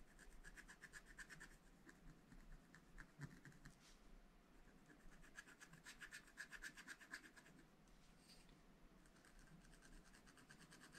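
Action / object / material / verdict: scrape / wax-coated scratch-art paper pad / waxed paper / none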